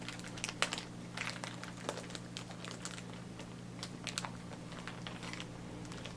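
Fingertips press, squeeze and crinkle a clear plastic zip-lock freezer bag with a pink zipper strip, held at chest height and filled with blue disposable face masks, working along the zipper to seal it. Quick, bright crinkles and small snapping clicks come in scattered bursts over a steady low hum.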